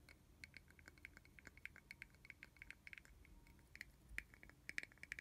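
A small, hollow, translucent red plastic bottle cap, removed from its bottle and held alone, is tapped and scratched with long fingernails. Quiet, irregular, rapid clicks and ticks carry a thin hollow ring around 2 kHz, mixed with faint dry scratching. The sharp taps stop almost instantly, with brighter, louder ones near the end.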